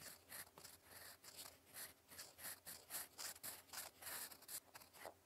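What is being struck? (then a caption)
Metal pen nib on a paper sheet. A gold metal fountain pen nib, held in fingers, scratches across a flat sheet of cream lined paper on a desk while writing cursive. The result is a quiet series of bright, dry scratching strokes, about fifteen separate ones at an uneven pace.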